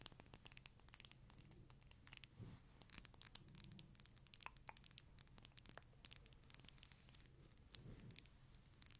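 Long fingernails tap and scratch a small dark amber glass dropper bottle with a black dropper cap, likely filled, held close to the microphone. Quick, quiet, bright clicks and scratchy ticks patter throughout, with a couple of soft low thumps around the 2.5 and 8 second marks.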